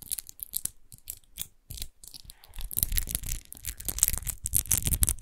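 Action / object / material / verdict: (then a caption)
scrape / textured glass bottle / glass / none. Long nails scratch quickly across the rose-textured base of a large, hollow, clear glass rose-shaped wine bottle that lies on its side, apparently empty. The result is a run of fast, irregular scraping bursts with a bright, high hiss over soft low thumps, growing louder and denser in the second half.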